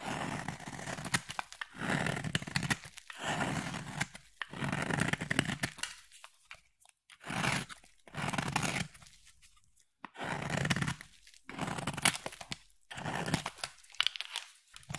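A utility knife blade carves a solid green bar of soap, making repeated crunchy, scraping strokes as curls fall off. Each stroke is a dense, gritty burst spanning low to bright tones, separated by short quiet pauses.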